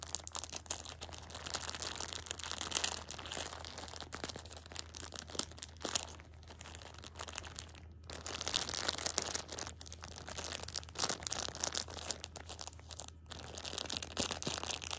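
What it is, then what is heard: Plastic-wrapped tissue pack crinkled. A Shopkins pocket tissue 6-pack wrapped in clear plastic is held in the hand while a thumb and long red nails crinkle and scratch the plastic film. The result is dense, bright crackling and scratchy rustling, with brief near-silent pauses around 8 and 13 seconds over a steady low hum.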